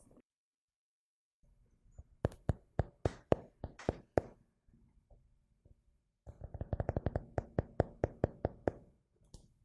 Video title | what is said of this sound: ASMR Tapping : Que Ressens-Tu ? | le carnet qui a un doux son